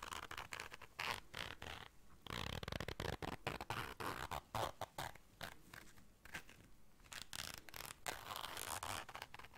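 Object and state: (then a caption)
Fabric zipper case. A small round black fabric zipper case, held in hands, is zipped and scratched with long dark nails. Short, dry rasping zipper bursts alternate with softer fabric scratching in a quick, irregular rhythm, with brief gaps of near silence between them.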